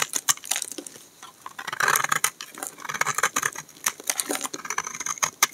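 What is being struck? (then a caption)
Bar of soap scraped with a knife blade. A hand-sized, solid peach-orange bar of dry soap, held in the hand, is scraped and shaved along its edge with a utility knife blade, so that flakes and powder fall off. Quick, dry, crisp scratching and crackling strokes come in irregular bursts with bright high-end hiss and almost no low end.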